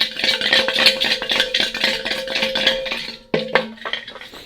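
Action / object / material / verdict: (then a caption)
shake / metal catalytic converter with ceramic substrate / metal, ceramic / broken. Shaking the old catalytic converter from a 2002 Subaru Legacy GT, a metal shell that looks fine outside, produces a rapid, uneven clinking rattle of loose pieces inside. Aged ceramic substrate has broken off and moves around, then gets stuck and clogs the exhaust, and this was confirmed as the cause of the car's problems.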